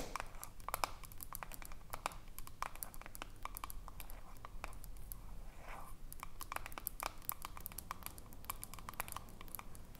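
Long fingernails tap the silver metal screw lid and the glass sides of a small glass jar with a pale green label, standing on a table. The result is a quiet, irregular stream of quick, bright clicks and ticks that stop almost instantly, over a low background rumble.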